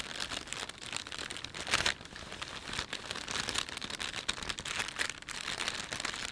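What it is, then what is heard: Plastic shopping bag crinkling. A thin, empty plastic carrier bag with a panda print is gripped in both hands and rubbed with the fingertips and thumbs. It makes a steady, bright crinkling rustle with sharper crackles scattered throughout. There is almost no low end.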